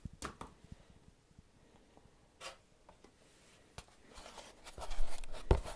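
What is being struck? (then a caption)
Rubber object. A rubber item is tapped in a series of soft, dull, irregular taps with very short decay and mostly low-frequency energy. Some taps bring brief bright clicks, and the sound grows louder and scratchier near the end.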